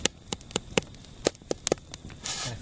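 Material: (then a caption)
Bread. Sharp, short finger flicks tap the top of a beer damper loaf baking in a stainless steel camp oven, giving about nine quick, dry ticks with no ring. A softer rustle follows at the end. The flicks are a check for a hollow sound, and the bread is judged not quite baked through and in need of a few more minutes.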